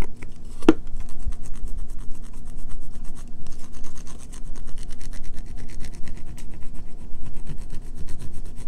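Fingernails scratch and rasp the face and edge of a solid, pale green bar of soap held in one hand, and shavings fall from it. A steady stream of quick, dry, gritty scraping strokes runs throughout, with fine bright crackle above a low rumbling body and one sharp click near the start.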